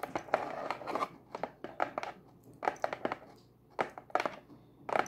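Long acrylic nails scratch and rub across the printed surface of a closed, hollow brown cardboard pizza box lid. The result is a series of dry, papery scrapes and light scratchy taps in uneven bursts with short quiet gaps between them.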